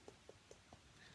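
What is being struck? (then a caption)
Wooden surface. Knuckles knock four times on a wooden surface, done for the "knock on wood" superstition. Each knock is a soft, hollow tap with a mid-pitched tone and a brief ring, heard quietly against a faint background hum.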